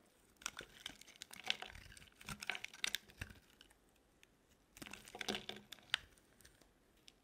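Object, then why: Bar of soap scraped by a metal blade. A metal utility blade scrapes and shaves the edge of a solid, dry, light green bar of soap held in the hand. Three bursts of crisp, crumbly shaving are separated by quiet pauses, and the sound is dry and bright with almost no low end.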